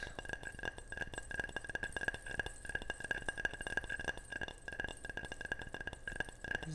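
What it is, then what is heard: Ceramic object tapped. A ceramic object is tapped repeatedly in quick, irregular succession, giving short, bright clinks with a clear ringing tone around 1.6 kHz. Each tap dies away almost instantly, with a little low background rumble underneath.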